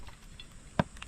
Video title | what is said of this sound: MERYENDA NATIN PANSIT HABHAB PAGAMAS NG ATING PALAYAN SA AREA #5 | magulang utol. Magulang. Iba ang tunog po